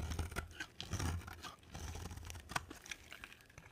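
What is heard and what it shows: A box cutter blade carves a solid, palm-sized white bar of soap, with flakes piling up as it goes. The sound is a dry, crunchy scraping and tearing with soft low thumps under each stroke and brief bright crackles as the flakes break away.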